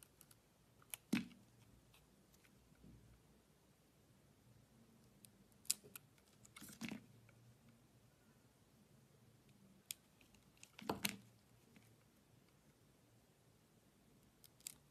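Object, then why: Soap bar cut with a blade. A blade slices into a solid green striped bar of soap held with long nails, making quiet, crisp cuts and scrapes with bright edges. The short, dry strokes come in scattered bursts over a faint, steady background.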